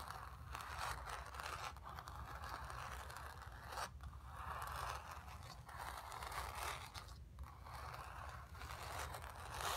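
Long acrylic nails on both hands scratch across the painted fabric of a square acrylic-painted stretched canvas on a wooden frame, hollow behind and lying on carpet. The result is a steady, dry scraping rasp centered in the midrange around 1 kHz, over a faint low rumble, with brief pauses near 4 and 7 seconds.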